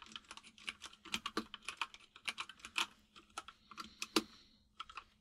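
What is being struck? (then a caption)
Plastic mechanical keyboard. Fingertips of both hands type on a full-size mechanical keyboard with white and grey plastic keycaps and a hollow case, producing about two dozen quick key taps in an irregular rhythm. Each tap is a short, bright, hollow clack that dies away almost instantly, with occasional louder strikes over a faint, steady low hum.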